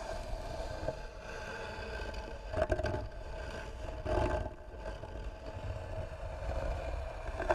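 Long nails scratch slowly across the flat, smooth top of a light, pine-like wooden box that is likely hollow. The result is a steady, dull rasping scrape with a low rumble, a faint ringing tone around 680 Hz, and a few louder scraping swells along the way.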